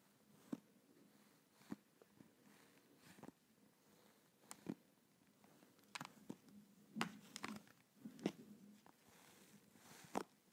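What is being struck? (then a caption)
Plastic over-ear headset shell. A black and blue over-ear gaming headset with a hollow plastic shell and padded ear cups is held close to a microphone while fingertips and nails tap and scratch its plastic earcup shells. Sharp, irregular clicks and scratchy bursts stand out over a steady low hum near 200 Hz, with brief bright edges on the louder taps.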